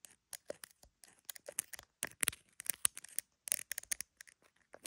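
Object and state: Phone in plastic case tapped and scratched with nails.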